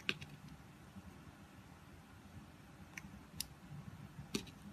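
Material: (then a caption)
Soap. A red utility knife shaves thin slices off a pink oval solid soap bar embossed "Love Nature" held in the hand. Five short, bright, crisp cutting clicks stand out over a quiet, low rumbling background, spaced irregularly across the clip.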